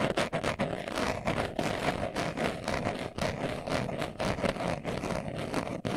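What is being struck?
Leather glasses case.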